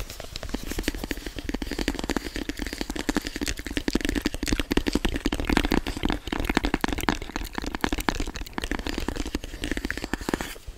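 A hand-sized, hollow, black rigid cardboard product box is tapped and scratched with fingertips near the microphone. The result is a dense, irregular stream of quick, dry, crackly taps with a hollow low body, mixed with scratchy brightness, steady in level throughout.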